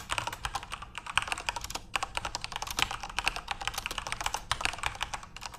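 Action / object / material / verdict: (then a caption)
tap / plastic computer keyboard / plastic / none. Fingertips type continuously on a backlit plastic Corsair mechanical keyboard with RGB LEDs. The result is a rapid, steady stream of short, bright clacks with almost no ring and little low end.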